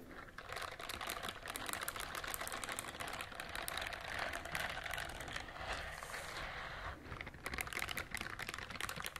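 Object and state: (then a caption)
Silicone scrubber glove. A pink silicone scrubber glove has its bristles scratched with long nails, making a dense, continuous run of fast, crisp clicking and scraping. The sound is mostly bright and crackly with little low end, and it eases briefly near the six-second mark before picking up again.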